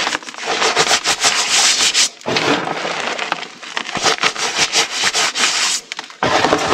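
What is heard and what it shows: Bare hands with painted nails rub and pat across a flat bed of pale, loose, dry crushed gym chalk powder, using palms and fingers. The result is a dense, bright, crackling and gritty rubbing sound with soft pats, nearly without low end, and a couple of brief dips in level along the way.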